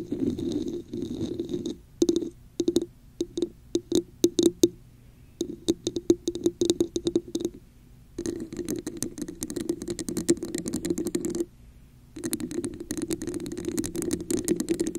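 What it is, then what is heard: Textured plastic cup. Long nails tap and scratch a hollow red textured plastic cup turned upside down over a microphone. Scraping alternates with runs of sharp, quick taps on the top and sides. Each sound has a hollow, boxy mid tone with a bright edge. The taps stop dead with almost no ring, and short silent gaps separate the passages.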